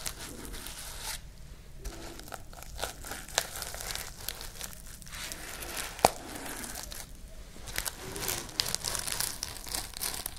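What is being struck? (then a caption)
Sequin fabric pouch. Fingernails and fingertips brush and scratch across a pink sequin fabric pouch, making a steady, bright, crinkly rustle. Brief pauses break up the scratching, and a few sharper clicks stand out, the strongest about six seconds in.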